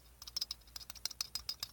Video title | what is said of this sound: GAW + Spinetic Y+ | I guess there's just a little bit too much play in here that allows it to do that